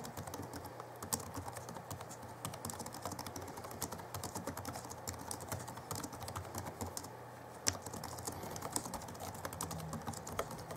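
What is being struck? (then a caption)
Plastic laptop keyboard keys. Both hands type rapidly with their fingertips on the backlit chiclet keyboard of a 2011 Alienware M11x R2 laptop, whose keys are plastic. Dense, short, bright clicks with almost no ring-out pile up in quick bursts over a steady low hum, with a few louder taps standing out.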